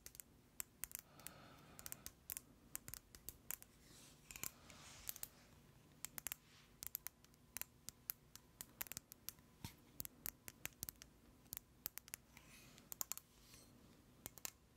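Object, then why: Plastic cosmetic jar with screw lid. A hand-sized white plastic cosmetic jar with a black screw lid is held in the hands and tapped with long acrylic nails. The result is a steady run of sharp, bright clicks that stop dead, with some soft scratchy brushing between taps against a quiet background.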